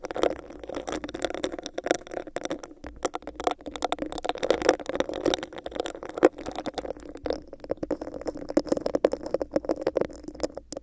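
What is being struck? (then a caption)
Textured plastic cup. Long nails scratch and tap on a hollow, empty, clear bumpy plastic cup placed over a microphone. A steady, hollow scraping rasp is broken by a rapid, irregular stream of sharp, bright clicks, with a boxy resonance near 500 Hz from the cup.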